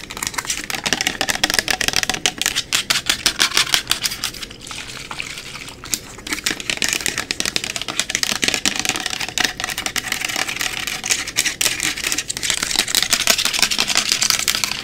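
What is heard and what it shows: Long nails tap and scratch quickly along the body and label of a 500 mL translucent plastic rubbing alcohol bottle held at an angle. The result is a dense, continuous stream of bright, crisp clicks and scratchy rasps with almost no low end. A brief quieter lull comes around the middle before the rapid tapping picks back up.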